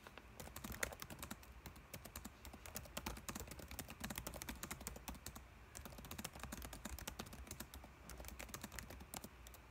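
Fingertips type rapidly across the plastic keys of a dark laptop keyboard, producing a dense, steady stream of quick, light clicks and taps. Each keystroke is short and bright with almost no ring, over a faint low hum.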